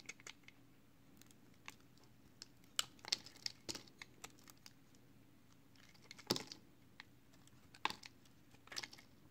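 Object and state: Recycled soap bar being shaved.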